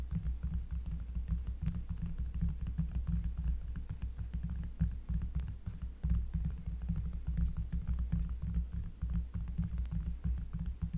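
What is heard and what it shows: Fingers tap rapidly and steadily on a cork surface, recorded up close. The result is a continuous stream of short, soft, deep bassy thumps with a low throbbing hum around 62 Hz and almost no high-end content.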